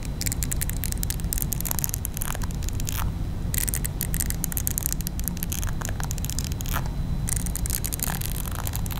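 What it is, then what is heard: Silicone facial cleansing brush scratched with nails. Long nails scratch over the textured bristle surface of a small round pink silicone face-cleansing brush held in one hand. A steady, dense low rumble runs throughout, with crackly, bright scratching bursts that drop out briefly around the 3 and 7 second marks.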